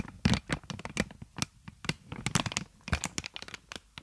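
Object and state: Plastic air-column packaging.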